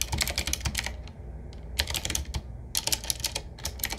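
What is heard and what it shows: Fingertips of both hands type on a 7Keys retro typewriter-style mechanical keyboard, a medium-size board with round black keycaps set in metal rings on a wood-finish frame and a hollow case. Bright, sharp key clacks come in quick bursts, separated by brief pauses, over a steady low hum.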